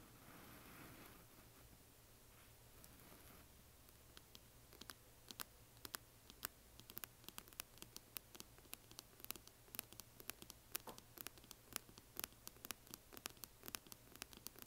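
Long nails tap the lid of a closed, hollow yellow glitter resin or plastic coffin box standing upright. After a few seconds of faint rustling, dozens of quiet, sharp, bright clicks follow in a quickening patter, each dying away almost instantly over a low steady hum.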